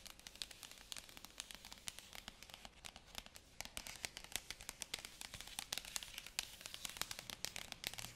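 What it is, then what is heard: Shrink-wrapped cardboard box. Fingertips and long nails rub and scratch in a sanding-like motion across the glossy printed lid of a sealed white cardboard iPad Pro 2020 box in plastic wrap. A dense, bright, crinkly scratching runs throughout, peppered with rapid sharp clicks and crackles that die away almost instantly, with very little low end.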